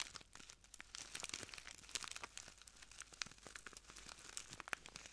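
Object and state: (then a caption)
Plastic bag of granules. A small clear plastic bag full of translucent granules is crinkled and squeezed by the fingertips of both hands. The result is a quiet, continuous stream of bright crinkling and crunching with many short, dry snaps. It has almost no low end and no ringing after each crackle.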